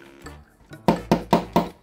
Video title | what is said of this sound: Review Kamera Mundur Mobil AHD 1080P | bunyinya nyaring kalau plastik enggak